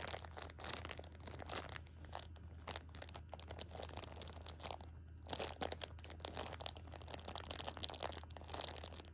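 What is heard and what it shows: A flat hand with long pink nails rubs and scratches across the plastic film wrapping a pocket tissue six-pack lying flat. Dense, bright crinkling and scratchy rustles come in rapid bursts, with a short lull around the middle, over a steady low hum.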